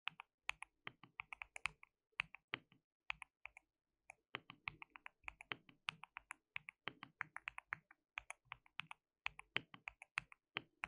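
Both hands type continuously with their fingertips on a compact, hollow, white-cased mechanical keyboard with white and pink plastic keycaps and an RGB backlight. About 55 quick, bright plastic clacks come in bursts, each dying away almost instantly, with a little low thock under them. Brief pauses fall near 2, 4 and 8 seconds.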